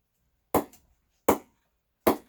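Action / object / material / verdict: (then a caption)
knock / willow cricket bat struck with a ball / willow / good ping. A ball is knocked three times against the face of a 2020 GM Siren cricket bat, model 404, made from grade 4 English willow, close to the lowest grade. Each knock is a sharp, bright wooden ping centered around 470 Hz that dies away quickly, and the first is followed by a faint rebound tap. The bat gives a good ping despite its low grade of willow.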